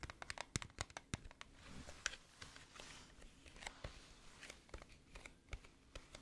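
Long nails tap and scratch across the embossed teddy bear lid of a flat, hollow gold-green metal tin held up in the air. Quick, sharp clicks with almost no ring are mixed with dry, bright scraping and crinkly rasps, all at a quiet level.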